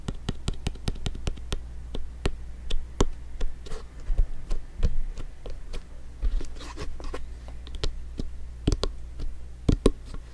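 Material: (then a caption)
Synthetic leather. A blue, stitched synthetic-leather soccer ball, hollow and inflated, is held in one hand and turned while fingertips tap and scratch its surface. Quick, dry, hollow taps come in an irregular stream, with softer scratching between them. A steady low hum sits underneath throughout.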